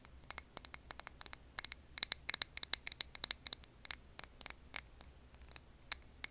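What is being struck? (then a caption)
Glass jar filled with candle wax. Long nails tap and scratch a clear glass jar filled with green wax candle, making a quick run of about 28 sharp, bright clicks. The clicks are very short and dry with almost no low end, and a few of the strongest ones in the middle carry a faint high glassy ring.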